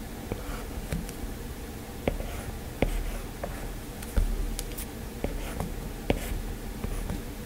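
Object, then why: Plastic stylus on a glass tablet screen. A hand strokes and taps a plastic stylus on the glass screen of an iPad while drawing a rose, with only the stylus touching the flat, solid tablet. Soft, steady scratching strokes run under a low, constant hum, broken by about eight short, sharp clicks from the stylus tip that die away almost at once.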